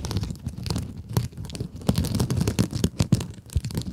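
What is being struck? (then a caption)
Mesh-covered scrub sponge. Long acrylic nails scratch a small pink scrub sponge with a glittery mesh cover, making a continuous run of rough, crackly scratching. Quick strokes overlap with brief sharp peaks. The sound is mostly low and dull, with faint bright crackle on top.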